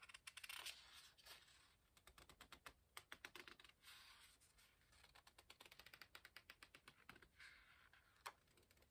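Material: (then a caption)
Paper. Fingertips turn and rub the paper pages of an open hardcover book. Quick, bright, crisp ticks and taps come in a rapid stream, with soft papery rustling swells underneath and one sharper snap near the end. The overall sound is quiet and close.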